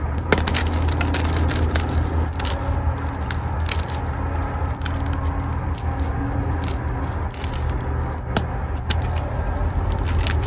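A solid white gym chalk block of magnesium carbonate is held in both hands over a bowl of chalk fragments, and the fingers snap and crush it. Dense, dry crackles and sharp bright snaps come over a steady low rumble, with a few louder cracks standing out as the block crumbles.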